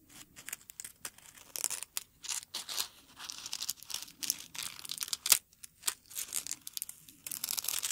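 A single dried dark red rose bud on its stem, held close, as fingertips rub and crinkle its dry, brittle petals. Quiet, bright, papery crackles and crisp tearing-like rustles come in short bursts, separated by brief silences.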